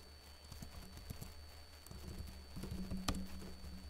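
Fingertips with short blue-painted nails type on the plastic keys of a backlit laptop keyboard. Soft, irregular taps patter over a steady low hum, with one sharper, brighter click standing out near the end.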